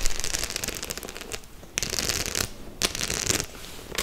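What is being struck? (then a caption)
Faux leather clutch with metal studs. Long nails scratch and tap the metal studs on a white faux leather clutch held in both hands. Bright, dense scratching and rapid clicking come in bursts, separated by brief quieter pauses, with a low rumble underneath throughout.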